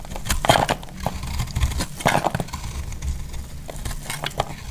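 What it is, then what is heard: Bar soap being shaved. A solid, hand-sized green bar soap held in the hand is shaved with a metal utility blade, scraping and cutting so that flaky curls fall off. Crisp, brittle scraping strokes with crackly, crumbly texture repeat in short bursts over a low, steady rumble.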